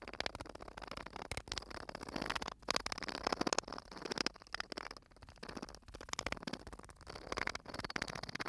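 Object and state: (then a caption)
Sand-filled bottle. A small clear bottle full of white sand, with an aluminium cap, is held close and rotated and tilted in the hands so the sand shifts inside. The result is a steady, dense granular hiss of fine crackling ticks, bright and grainy with little low end. It swells and fades in waves as the bottle turns, with brief quiet gaps between tilts.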